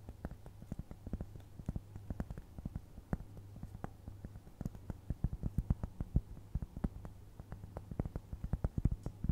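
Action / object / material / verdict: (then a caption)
tap / round flat cork trivet / cork / none. Long nails scratch and tap the surface of a round, flat, solid cork trivet, making many quick, dull, low taps with almost no ring. A faint steady low hum runs underneath.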